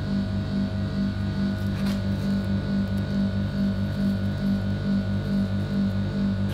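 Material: Nothing is struck.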